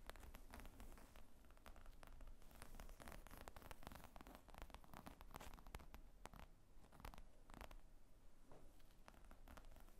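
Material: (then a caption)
Leather. Fingernails tap and scratch across the top of a black leather briefcase-style laptop bag with zippers, lying flat. Quick, dense, soft clicks and scraping rustles run continuously for the full ten seconds at a quiet level.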